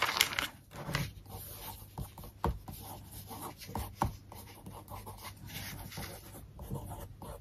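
A wooden stick traces and scratches over the text and photo spread of an open glossy paper magazine lying on a desk, and then a page is flipped. The result is quiet, bright, papery scraping and rubbing, broken by a few sharper ticks and soft taps.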